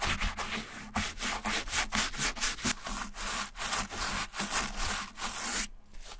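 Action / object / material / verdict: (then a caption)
scrape / leather shoe insole with foam backing / leather / none. A small wooden-handled bristle brush scrubs the light leather, foam-backed insole inside a silver Repetto ballet flat with quick back-and-forth strokes. Each stroke gives a bright, dry, rasping hiss in a steady rhythm, with a brief quiet gap near the end.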